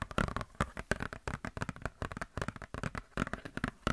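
Long nails scratch and flex a glossy paper Blizzard Shop catalog booklet, making dense, rapid crackling and rustling scrapes. The bursts are short and dry with a low, thumpy body, and they keep coming unevenly throughout.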